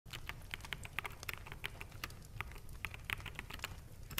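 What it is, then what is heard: Plastic mechanical keyboard. Fingertips of both hands type fast on a full-size black plastic mechanical gaming keyboard with hollow keycaps resting on a desk. Quick, bright clacks with almost no ring repeat irregularly over a low, steady rumble throughout.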